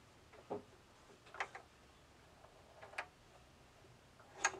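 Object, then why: Bamboo tilt maze with a steel ball. A small steel ball rolls inside a flat, box-like bamboo tilt maze as hands turn the knobs to tilt the board. It gives off a few sharp, short, bright clicks against the wooden walls, spaced apart over a quiet background with a faint rolling hiss between them.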